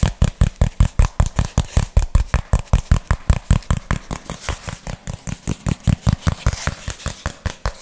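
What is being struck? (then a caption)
Thin cardboard sheet. Fingernails rapidly tap and scratch a thin, hand-sized piece of flat brown cardboard held in both hands. About forty short, dry, thumpy taps come in a fast, slightly uneven rhythm, with a faint scratchy hiss between them.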